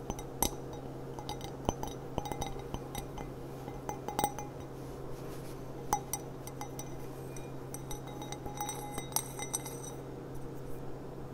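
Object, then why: Glass cup with gilt trim. A glass cup with gilt trim, a thrift-store find that matches a set of china, is tapped repeatedly. Many short, bright clinks and chinks sound with quick, barely ringing decay, over a steady low hum.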